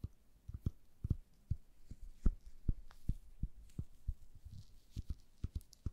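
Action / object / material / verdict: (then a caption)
tap / turned wooden chess piece / wood / none. A small, solid, cream-colored turned wooden chess piece is held in gloved hands and tapped and scratched with long nails. The result is a string of soft, dull, low taps with very short decay and faint scratching between them.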